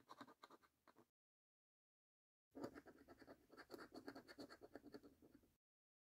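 A coin scratches the coating off the game panels of a thin, flat paper lottery scratch card while the hands stay on the card throughout. The result is quick, rough, rasping strokes in two bursts, separated by a pause of silence.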